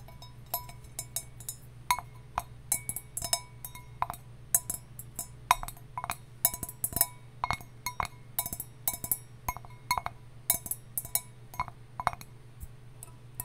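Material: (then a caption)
Copper. A copper mug is tapped in a mix of slow and fast taps, each giving a short, bright metallic tick with a ringing tone near 1 kHz that dies away almost at once. A steady low hum sits underneath throughout.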